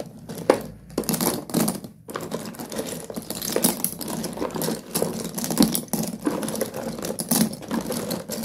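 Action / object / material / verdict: scrape / pile of broken slate pencil pieces in a cardboard box / slate / none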